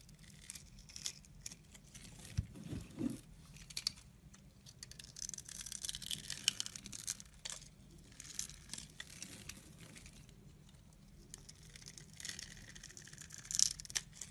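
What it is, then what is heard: Bar soap being carved. A utility knife blade scores a solid, palm-sized lilac bar of soap held in one hand in a grid pattern, scraping and flicking off small cubes over a pile of soap shavings. The quiet clip is full of bright, crisp scraping and crackly cutting, with a brief low thump early on. Short ticks and flicks scatter throughout.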